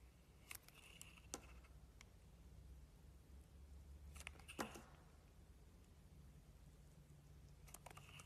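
A utility-knife blade carves curls from the surface of an oval, solid Avon soap bar painted gold with a blue interior, held in both hands. Quiet, crisp scraping clicks and short bright shaving strokes come in three brief clusters over a steady low hum. The result is soft, sparse cutting sounds with short pauses between strokes.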